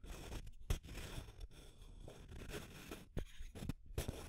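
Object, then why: Plastic tube container with aluminium screw lid. Long nails scratch the label and body of a small labeled clear plastic tube container with an aluminum screw lid, then tap on the metal lid. A soft, low-heavy scratching and rustling runs throughout, broken by a few sharp, brief clicks.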